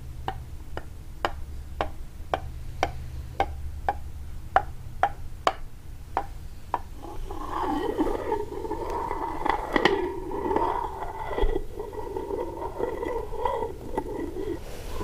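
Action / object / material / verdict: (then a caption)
tap / lacquered wooden box tapped with a quartz crystal / lacquered wood / none. A clear quartz crystal point taps and then scratches the lid of a small rectangular wooden box, likely hollow, with a gold-leaf lacquered top, resting on a table. For about seven seconds, evenly spaced sharp ticking taps ring out over a low steady hum. Then a continuous, rustling scratch with a mid-range tone fills the rest of the clip.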